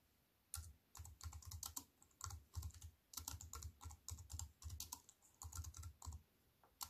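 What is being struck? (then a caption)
Plastic computer keyboard with metal frame. Fast typing with fingertips and long white nails on a compact plastic computer keyboard with black plastic keys on a silver aluminium frame. Quick bursts of bright, crisp key clicks with a soft low thump under them come in irregular runs, with brief quiet pauses between. Each tap stops almost at once.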